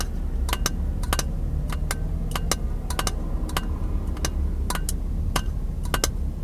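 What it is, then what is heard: Glass jar tapped with fingertips and nails. A small, empty, clear glass jar, hollow and held in both hands, is tapped by fingertips and nails. Quick, bright clicks with a faint glassy ring come in irregular pairs and clusters. A steady low rumble runs underneath throughout.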